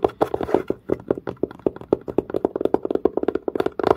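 Fingertips and nails tap quickly on the curved, dark, pebble-grain surface of a textured leather-covered case. The result is a rapid run of short, dry taps with a hollow mid tone around 400 Hz and almost no ring.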